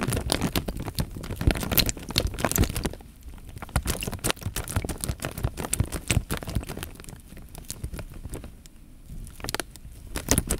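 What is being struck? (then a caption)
Thin plastic bag filled with water. A clear, thin plastic bag full of water is held in both hands while fingertips press and rub the film, making dense crinkling, crackling taps over low, soft sloshing as the water moves inside. The sound is busiest in the first three seconds, eases into quieter, sparser stretches in the middle and around eight to nine seconds, then picks up again at the end.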